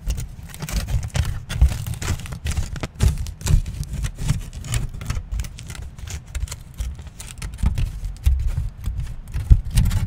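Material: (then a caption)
Aluminium foil. A wrinkled aluminium foil sheet is stretched and crinkled by both hands close to the microphone. A dense stream of sharp, bright crackles and crinkles rides over a heavy low rumble from the handling, rising and falling in short bursts throughout.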